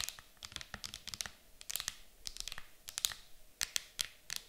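Long nails tap and scratch the lid of an empty, clear hard plastic game case lying flat. Quick, irregular, bright clicks come in clusters, with faint scratchy rustling between them. Each tap is sharp and dies away almost instantly, with very little low end.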